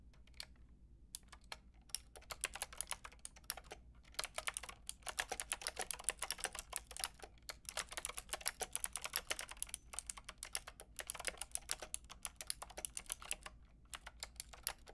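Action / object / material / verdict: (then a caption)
tap / plastic mechanical keyboard with round keycaps / plastic / none. A Lofree plastic mechanical keyboard with a plastic frame and round keycaps is typed on, its keys tapped by fingertips with long red nails. Quick, bright, dry clicks come in steady runs broken by brief pauses, each tap dying almost instantly over a faint low background hum.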